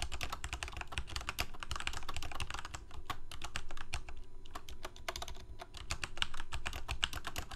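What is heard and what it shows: Fingertips of both hands type rapidly on a full-size Corsair K68 backlit plastic mechanical keyboard with Cherry MX Red switches. The result is a dense, steady stream of short key taps: quick bright clicks over a deep, thumpy low end, with brief pauses between bursts.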